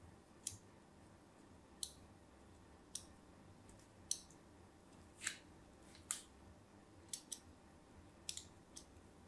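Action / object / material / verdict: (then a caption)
scrape / solid bar of soap scored with a thin metal blade / soap / none. A thin metal blade draws diagonal score lines across the face of a solid cream bar of soap with an embossed logo, held upright. Eleven short, crisp scratching and cutting strokes sound at uneven intervals. Each is bright and high-pitched, fading almost instantly over a faint low background hiss.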